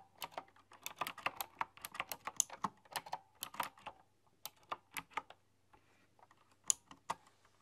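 A full-size typewriter-style computer keyboard with round chrome-rimmed, hollow keycaps is tapped with fingertips and long dark-polished nails. Quick, dry, bright clicks come in uneven bursts with short pauses, each one ending almost at once.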